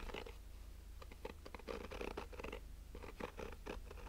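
Fingernails slowly scratch the woven nylon-mesh surface of a black, fabric-covered, rigid hollow sunglasses case, heard close-up. Repeated soft, raspy strokes with a hollow midrange tone sit over a steady low hum.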